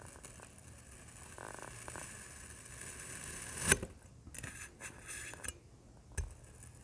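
A large printed metal knife blade presses into and slices a small solid block of black kinetic sand resting on a white surface. A quiet, bright granular scraping builds to a sharp crunchy cut, followed by several shorter gritty scrapes and soft taps as the blade moves through the sand.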